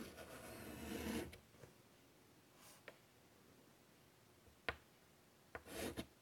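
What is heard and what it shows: A hand draws on a large, flat chalkboard in a wooden frame with white chalk in short strokes. A bright, raspy scratch runs for just over a second, then fades into quiet. Five sharp chalk taps follow, with a short scratching stroke near the end.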